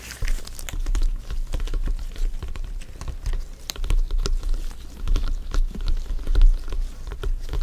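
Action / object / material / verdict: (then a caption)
tap / inflated synthetic leather soccer ball / synthetic leather / none. A full-size inflated hollow soccer ball with stitched synthetic leather panels is tapped and rubbed by fingers in black gloves. Quick, soft taps land in a dense, uneven patter of dull, low thumps with a short hollow ring, mixed with faint crinkly rubbing against the panels. The level rises and falls steadily throughout.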